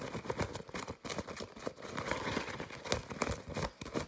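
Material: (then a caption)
Nonwoven fabric. A white disposable respirator-style face mask of nonwoven fabric, soft and hollow with yellow elastic straps, is squeezed, crinkled and scratched with fingertips and short painted nails. Rapid, uneven bursts of dry crinkling and scratchy rustle follow one another with almost no ring between them.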